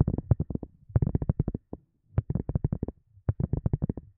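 Long glossy nails tap quickly on a round white silicone cup lid that is thin and hollow underneath. The taps come in rapid bursts of short, dull, low thuds with a soft hollow knock and almost no ring. Brief pauses fall between the bursts.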